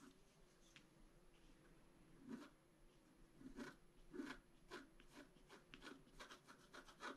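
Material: Coated paper.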